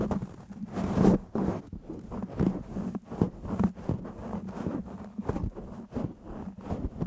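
Fingertips of both hands massage, rub and scratch a black foam windscreen on a microphone. The result is a dense, muffled run of low scuffing and rustling bursts with a steady low tone underneath, rising and falling irregularly with no bright highs.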